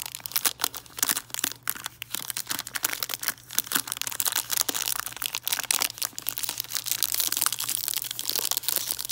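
A cone-shaped tree of red-and-white hard peppermint candies in a clear cellophane bag is crinkled and tapped with fingernails. The result is a steady stream of bright, crisp crinkling with quick dry taps, running unbroken through the clip with almost no low end.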